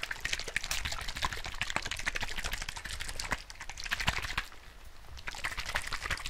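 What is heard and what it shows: A small clear plastic bottle with a white cap, filled with pink liquid, is held in one hand and shaken rapidly close to the mic. It makes a fast, irregular stream of sloshing splashes and crisp clicky taps, bright and crackly on top with a soft low rumble underneath. There is a brief quieter dip around the middle before the shaking picks up again.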